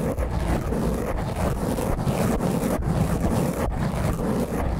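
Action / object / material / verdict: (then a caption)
scrape / foam microphone windscreen / foam / none. Both hands with long painted fingernails scratch and rub a round black, soft, porous foam windscreen over a microphone. The result is a continuous, dense, rough scratching and rubbing noise with a heavy low rumble and little high end. The loudness stays steady throughout.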